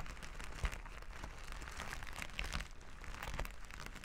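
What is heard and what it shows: Flat plastic sequin fabric lying on a table is scrubbed back and forth with plastic finger-massager tools held in both hands. The result is a steady, dense crinkling scratch over a low rumble, broken by brief sharper clicks.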